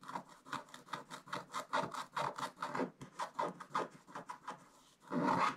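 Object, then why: Coated scratch-art paper scraped with a wooden stick. A wooden stick held in the fingertips scrapes across the coated page of a scratch-art paper book in quick back-and-forth strokes. Each stroke is a short, dry, raspy scratch centered in the midrange, ending with a longer, louder scrape.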